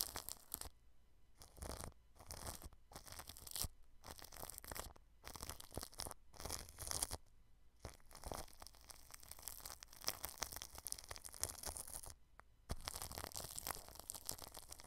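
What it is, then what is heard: Plastic cling film over a microphone, brushed. A small paintbrush brushes clear plastic cling film stretched over a microphone, making bright, crinkly, scratchy bursts separated by short quiet gaps. After about eight seconds the brushing becomes denser and nearly continuous, with a dull low rumble underneath.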